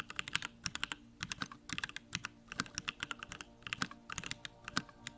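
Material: Plastic.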